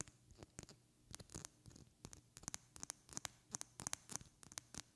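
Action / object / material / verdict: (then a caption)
tap / small glass perfume bottle / glass / none. Long red-painted fingernails tap and scratch a small, partly filled glass perfume bottle with a white cap. About twenty quick, bright clicks come in uneven bursts, each with a faint high glassy ring, mixed with soft scratching between them. The sound is quiet and crisp, and each tap dies away almost at once.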